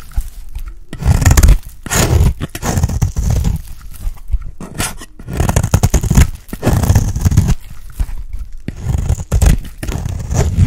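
A small metal knife blade scrapes and carves shavings from a round, cream-colored bar of dry soap with a stamped logo, held in the hand. Dense, low, rasping scrapes come in repeated bursts with brief pauses, and faint bright hiss sits above them.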